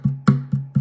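Four taps on a thinned cedar oud top give a low, woody tone around 137 Hz with a short ring. After thinning, the top rings longer and its tap note rises slightly, because less bracing mass keeps the bass from being deadened.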